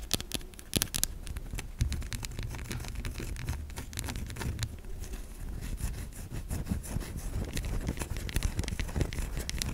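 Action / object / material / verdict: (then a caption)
scrape / bar of soap / soap / none. Long nails scratch and scrape across the curved surface of a white solid bar of soap. Quick, dry scratchy ticks and rasping strokes run continuously over a low rumbling background, with some brighter, sharper clicks scattered throughout.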